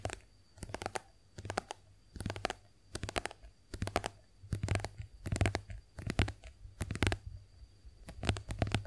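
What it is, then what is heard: Plastic face wash tube. Long acrylic nails tap a white, soft plastic squeeze tube of face wash cream that is hollow, partly filled and held upright. Quick clusters of light, clicky taps with a dull, hollow plastic knock come in irregular bursts. A steady low hum and a faint high whine run underneath.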